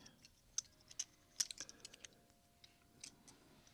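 Two stacks of large solid silver dollar coins are held in both hands above a pile of coins, with fingertips and thumbs clicking and tapping the coins against each other. Ten short, bright metallic clicks sound at an irregular pace, each dying away almost instantly, over a faint steady hum.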